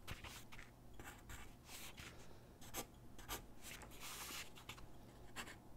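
A graphite pencil held in the hand scratches across a large white sheet of drawing paper lying flat on a wooden desk while sketching figure drawings. Quiet, dry, bright scratching strokes come in short bursts and longer sweeps of hiss, with a low hum underneath.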